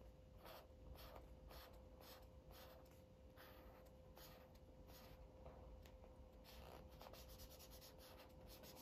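An orange felt-tip Sharpie marker is rubbed in quick back-and-forth strokes across a thin white coloring book page lying flat. Soft, breathy scratching strokes with bright hiss repeat steadily over a low background hum and a faint steady tone.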